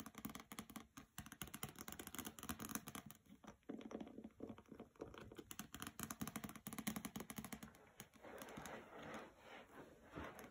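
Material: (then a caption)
Paper. Fingernails scratch and rub along the edges and cover of the hardcover novel "Graceling," which has a glossy paper dust jacket and rests on a carpet. The result is a quiet, dense run of quick scratchy ticks and patter with a warm low-mid body, shifting near the end into a steadier, brighter rubbing hiss.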